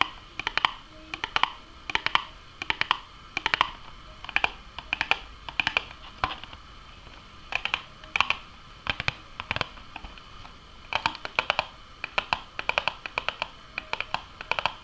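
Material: Cardboard.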